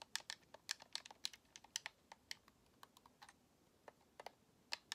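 Long nails tap the top and the thumbsticks of a white, hollow plastic Xbox controller held in both hands. About 19 quick, dry, bright clicks come in an irregular rhythm, each dying out almost instantly with no low thump.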